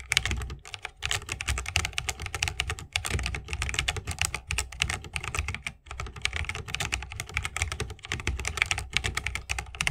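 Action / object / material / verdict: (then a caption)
tap / mechanical keyboard, bamboo case, plastic keycaps / bamboo, plastic / none. Continuous two-handed fingertip typing on a 60% mechanical keyboard with a bamboo case, plastic keycaps and Holy Panda switches. Rapid, short, bright clacks sit over a low thock from the case, with brief pauses between bursts of keystrokes.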